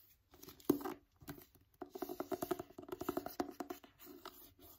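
A paperback copy of "Wonder" with a paper cover, held in one hand, is tapped and scratched by fingertips and nails, first on the back cover and then on the front. Quick, dry taps come in uneven bursts with a papery, scratchy texture and a hollow tone around 300 Hz. Each tap dies away almost instantly.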